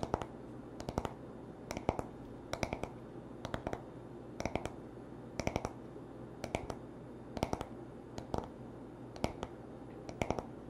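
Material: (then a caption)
Wood. Short nails and fingertips tap the smooth wooden back of a paddle hairbrush in quick clusters of sharp, dry clicks, each dying away almost instantly. The bursts repeat at a steady pace over a faint, constant low hum.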